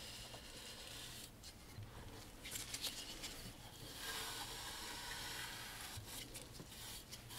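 A bristle brush held in a gloved hand scrubs along the carved edge at the corner of a large, dark wooden picture frame. The result is a steady, bright, hissing scratch of quick, uneven strokes, centred near 2.7 kHz with only a faint low rumble. It grows a little louder and denser in the second half.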